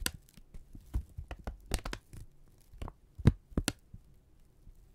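A thin brown kraft paper strip, held in both hands, is crinkled, stretched and rubbed with the fingertips. It makes a run of sharp, dry crackles and snaps, each with a bright top over a dull, low body. The crackles come at uneven intervals over a faint low hum, and the loudest snaps fall late in the clip.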